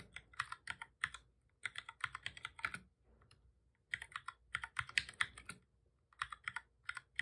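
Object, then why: Plastic computer keyboard. Both hands type steadily with their fingertips on a full-size black plastic computer keyboard with a hollow body, resting on a desk. About three dozen short, bright, clicky key taps come in quick bursts, separated by brief pauses near the middle and toward the end.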